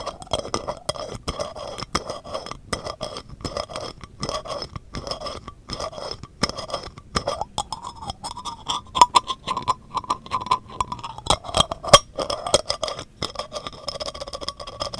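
A small, empty, clear glass jar is held in one hand while the fingers of the other hand rapidly tap and scratch its surface. Quick, light clinks and scraping sounds repeat throughout, with a short hollow ring around a mid-range pitch.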